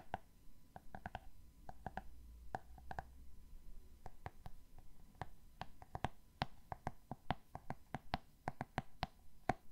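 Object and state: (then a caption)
Hardcover book cover tapped with fingernails. A solid "Rijmsoep" hardcover book with a glossy cardboard cover is held up and tapped on the cover with fingernails. A steady run of quick, dry clicky taps with a faint hollow tone around 740 Hz dies away almost instantly, over a soft low background rumble.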